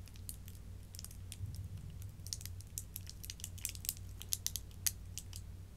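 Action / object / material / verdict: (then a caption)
scrape / thin clear plastic candy wrapper / plastic / none. A small, twisted clear plastic wrapper around a single Jolly Rancher hard candy is twisted and crinkled between fingertips with long dark nails as the candy is unwrapped. Quick, sharp, bright crinkles and crackles come in irregular bursts over a steady low hum, with a few louder snaps near the end.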